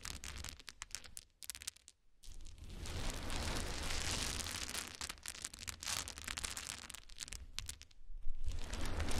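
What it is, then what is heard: Pile of small wooden cubes. A pile of many small solid wood cube chips is gathered and stirred with the fingers of both hands. It gives a dense, irregular clatter and rustle of many quick clicks with broadband hiss, rising into a steady rushing middle stretch before scattering into sharper clicks. Low rumble sits underneath throughout.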